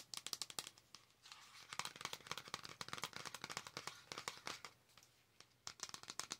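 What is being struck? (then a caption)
Flat cardboard palette. A flat cardboard Star Wars eyeshadow palette, held in both hands, is tapped and scratched across its surface with long acrylic nails. Quick, dry, bright clicks come in rapid bursts, with a softer, continuous scratchy rustle filling the gaps in the middle. Each tap stops almost instantly, with no ring.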